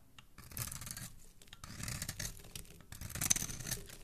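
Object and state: Bar of soap being carved.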